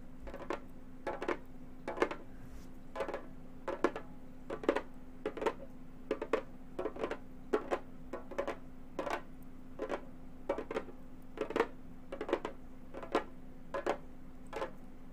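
A round, hollow Remo frame drum with a synthetic head is tapped with long gold metal finger claws, sometimes near the rim. Short, crisp clicking taps fall in loose clusters of two or three throughout, each dying away almost at once with a slight hollow, mid-pitched tone. A steady low hum runs underneath.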